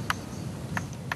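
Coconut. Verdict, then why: Unripe. A finger flicks an unripe or unsuitable coconut to judge it, producing three short, dull, faint taps instead of the hard, clear sound of a good coconut. The taps die away almost instantly over a low background rumble.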